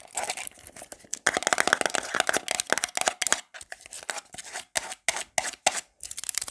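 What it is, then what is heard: Plastic hair paste jar. Long black glitter nails tap and scratch fast and aggressively on a small round black plastic got2b hair paste jar, across its lid and ridged sides. Rapid, irregular bursts of dry, bright clicks and raspy scratches come in quick clusters separated by short silences. There is no low end and almost no ring after each hit.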